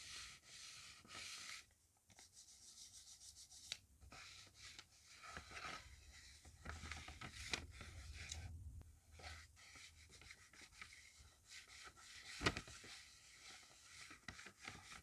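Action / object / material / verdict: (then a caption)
scrape / paper notebook page / paper / none. A fingertip wrapped in a yellow paper strip rubs back and forth in a polishing motion across a hand-drawn shoe on a flat, roughly A5 sheet of gridded notebook paper, with everything made of paper. The result is a steady, bright, papery swishing broken by short pauses and occasional sharper scratchy strokes.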